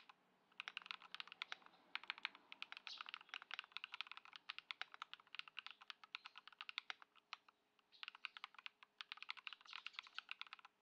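A white Ducky One 2 SF mechanical keyboard with plastic keycaps, modded with Poron foam and swapped Lumia Matcha switches, sits on a dark mat on a wooden desk while the fingertips of both hands type continuously. Dozens of short, crisp, bright clacks come in quick runs, with a brief pause near the eight-second mark before the typing resumes. Each keystroke dies away almost instantly over a faint steady low hum.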